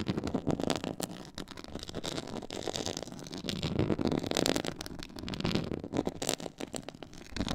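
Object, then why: Textured faux leather board. Long nails scratch a black pyramid-textured faux leather board, giving a steady, dense run of dry scraping and crackling strokes. The sound swells and fades in waves, with sharp clicky transients reaching up to a bright top end.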